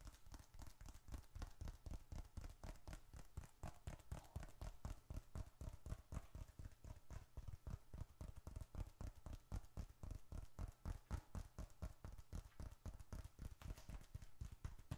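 A small dark red leather bifold wallet is held upright in one hand while the fingertips of the other hand tap quickly on its flat side. The result is a steady stream of soft, dull, low thuds, about four per second, each dying out almost instantly with little brightness.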